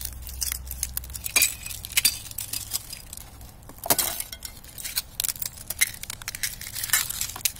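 A knit-gloved hand presses down on a thin, clear sheet of ice lying over dry grass, crushing it. Bright, glassy cracks and clinking shards crackle in rapid, dense bursts that die away almost instantly, with a louder crunch partway through.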